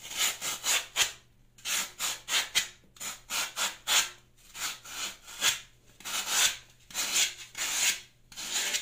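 A solid green floral foam block, now getting smaller, is peeled with the metal blade of a plastic Y-peeler in a repeated scraping action, with shavings scattered on a pink mat. About seventeen dry, bright, hissing scrapes come in uneven bursts, each a short rasp with little low end that stops quickly.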